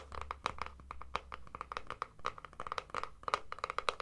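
Fingernails scratch and tap along the casing of a hollow plastic deodorant stick container. The result is a rapid, uneven series of short, dry clicks with a hollow mid-range ring around 1.2 kHz. A faint low hum sits underneath during the first half.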